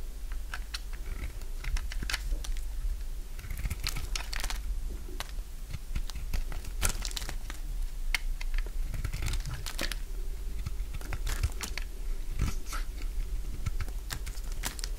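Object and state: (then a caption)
Dry bar soap being cut. A solid bar of dry orange soap is held in the hand and shaved with a utility knife blade, with chunks falling away. Many short, crisp scraping and cutting crunches follow one another in quick succession, with brief bright crackles over a steady low rumble.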